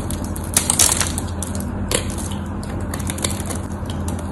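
A knife blade scrapes and carves cubes off a solid cream-white bar of soap. Crisp, crunchy cutting sounds with bright crackles come in quick bursts, the loudest near the start, over a steady low hum underneath.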